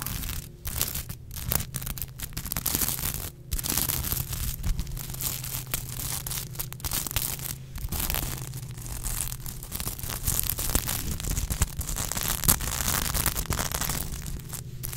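Long nails scratch and brush across the reversible sequins of a soft, roughly 30 cm unicorn plush. The result is a steady, crinkly, tearing-like rasp with bright clicks, broken by a few brief pauses. A low, constant hum runs underneath throughout.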